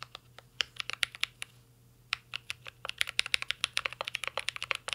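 Two hands type steadily with their fingertips on a full-size mint-green Cyberboard R3 mechanical keyboard with a metal case, plastic keycaps and Holy Panda switches, resting on a desk. About 32 short, bright, clacky keystrokes sound with almost no ring, broken by a brief pause before the typing picks up again, faster and denser.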